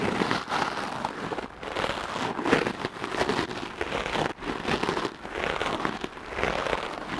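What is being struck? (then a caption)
Foam microphone windscreen and bristle brush. A dark-blue porous foam microphone windscreen, held in one hand, is brushed with the stiff black bristles of a light wooden clothes brush. The result is a continuous, dense crackling scratch of rapid strokes that swells and dips, with short pauses between passes.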